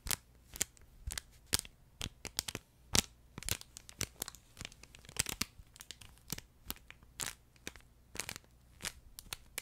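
Fingertips and nails stroke and scratch the top of a flat yellow plush duck pet toy, held horizontally, its fabric covering a crinkle insert. A steady series of short, bright crinkling and scratching bursts repeats over a quiet, low background hum.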